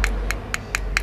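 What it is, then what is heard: Hollow-sounding electrolytic capacitor. A screwdriver taps a spot on an aluminium electrolytic capacitor can several times, giving short, bright, hollow-sounding clicks over a steady low hum. The capacitor sounds hollow rather than solid, which is abnormal.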